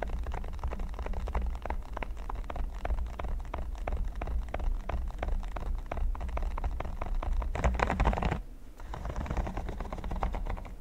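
Fingertips and short nails tap and scratch fast across a flat, solid red silicone pyramid mat. The result is a dense run of quick soft clicks and scratchy rustles over a steady low hum. A brief louder burst of scratching comes near the end, then a short lull before the tapping resumes.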